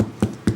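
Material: Pumpkin flesh.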